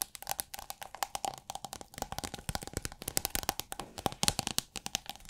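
Long nails rapidly tap and scratch a rolled tube of iridescent holographic plastic film, held upright and tilted. The result is a dense run of quick, crisp, bright plastic clicks with very short decay, over a faint steady tone near 750 Hz and light scratchy rustle between the taps.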